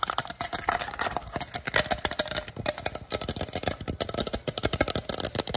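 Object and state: Plastic water bottle tapped and scratched.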